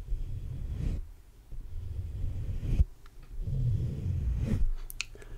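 Fingertips slowly rub and scratch the black metal mesh grille of a large hollow condenser microphone. The result is deep, rumbling, muffled scraping that swells and fades in long strokes, with brief quiet gaps between them. A few faint, bright ticks come through near the end.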